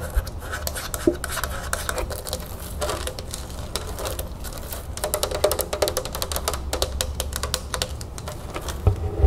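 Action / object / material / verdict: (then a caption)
tap / plastic soda bottle with liquid / plastic / none. A large clear plastic club soda bottle with a blue cap, full of liquid and lying tilted in the hands, is tapped with long red-painted fingernails on its plastic body and cap. Rapid, dense clicking taps and light scratches come in quick bursts over a steady low rumble, each tap short and dry with a bright edge.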